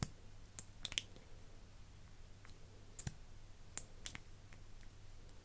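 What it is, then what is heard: Plastic lip gloss tube. Fingers with long nails open and close the silver cap of a partly full, iridescent plastic lip gloss tube and handle its wand. About eight quiet, sharp, bright clicks come at irregular intervals. A steady low hum runs underneath.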